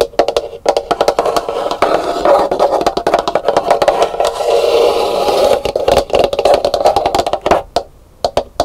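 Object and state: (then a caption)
Hollow dried calabash gourd bowl. Long nails tap and scratch the outer shell of an empty, hollow, dried, painted calabash gourd bowl, first resting upside down and then lifted in the hands. Fast, hollow taps with a mid-pitched woody resonance around 570 Hz blend into a dense stretch of continuous scratching and rubbing, then thin out into a few separate taps at the end.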